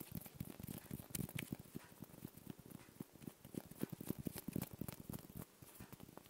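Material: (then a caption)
Glass. A small round clear Christmas ball ornament, probably glass, with a gold ribbon bow and a "9¾" label and seemingly filled with small particles, is held in one hand and tapped and scratched with the fingertips of the other. Quiet, rapid soft taps with dull low thumps and faint bright scratchy clicks die away instantly, with no ringing.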